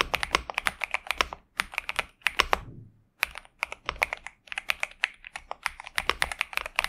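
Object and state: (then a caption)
Mechanical keyboard with plastic keycaps. Fingertips type steadily on a pink and purple Xinmeng M71 65% mechanical keyboard with TTC Superman switches and plastic keycaps, resting on a desk mat. Quick, bright clacks come in bursts separated by short pauses, each keystroke sharp and dry with almost no ring.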